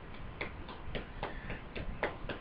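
A buttock and hip area hardened after illicit silicone injections is knocked on repeatedly, giving a steady series of dull, short, wood-like knocks at a moderate level with almost no ring. The tissue is abnormally hard and does not move the way it should.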